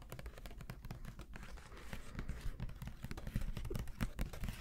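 Fingertips tap and scratch a medium white Elmer's plastic glue bottle with an orange cap and its label, close to the microphones. A rapid, steady stream of short, dry taps and rustling scratches runs throughout, heavy in the low end with quick, dead decays.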